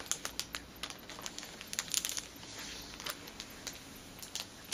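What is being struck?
Cellophane-wrapped package, plastic film.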